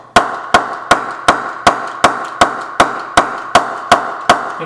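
An English-brand willow cricket bat is knocked with a mallet 12 times at a steady pace. Each knock is a sharp, bright tap centred around 700 Hz with a very short ring. The hard, clipped sound shows the bat has been firmly pressed.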